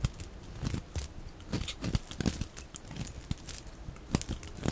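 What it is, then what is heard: Bar soap being shaved. A metal utility-knife blade shaves thin curls off the edge of a solid, rectangular, dry white bar of soap held in the hand, played at double speed. Quick dry scraping and crinkly, crunching strokes come in a rapid uneven run, with soft low bumps under bright, sharp peaks.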